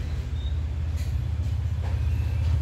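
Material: Nothing is struck.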